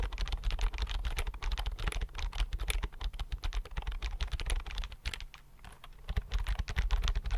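Fingertips type quickly on the flat chiclet keys of a thin white plastic keyboard held in both hands. A dense run of short, dry key taps with a low, soft thud carries on throughout. It quiets briefly around the five-second mark before picking back up.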